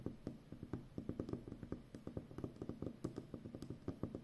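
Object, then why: Plastic packing tape roll. Long nails scratch and tap along the top edge of a full roll of brown plastic packing tape. The result is a quick, irregular run of soft, dull taps with faint scratching between them. Each tap is low and muted and dies away almost instantly.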